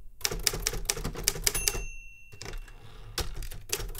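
Rapid fingertip typing on the keys of a metal manual Remington Super Riter typewriter produces about fourteen sharp, bright key strikes with dull low thuds beneath. A faint sustained high tone lingers through a quieter middle stretch before the quick taps return.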